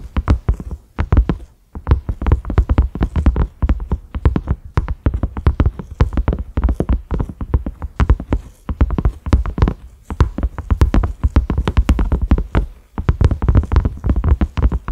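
A cream silicone pot lid with concentric ridges and a black center knob is tapped rapidly with the fingertips and short nails of both hands. The result is dense runs of dull, low, muffled thuds that die away almost instantly, broken by brief pauses between bursts.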